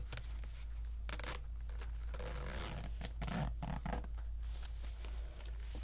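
Fingers pull the slider along the coil of an empty, bright orange polyester pencil bag made entirely of one long plastic-toothed zipper on polyester tape. Short bursts of scratchy zipping come and go over a steady low hum, staying quiet throughout.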